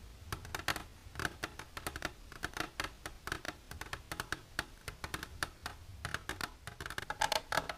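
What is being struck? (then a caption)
Clear plastic container tapped with fingernails. Long silver nails tap and scratch an empty, hollow, clear plastic container held upright in both hands. The result is a quick, irregular stream of sharp, bright clicks with a hollow tone around 640 Hz, each dying away almost instantly, with soft scratching between the taps.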